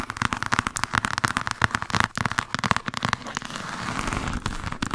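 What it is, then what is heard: Hardcover book spine, tapped and scratched. A thick, solid hardcover copy of "Jane Austen The Complete Novels" is held upright with its spine toward the mic while long acrylic nails from both hands rapidly tap and scratch the spine. Quick, crisp clicking taps with a bright edge and a papery ring around 1.5 kHz fill the first few seconds. Toward the end they blend into a denser, steady scratching rustle.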